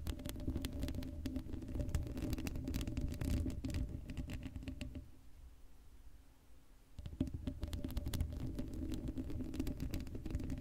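Long blue acrylic nails on both hands scratch across the black woven metal mesh grille of a hollow Blue Yeti microphone head with no foam cover. The result is a dense, rapid patter of close scratching, heavy in low, rumbling frequencies, with a faint steady tone underneath. The scratching fades to near quiet in the middle before resuming at full level.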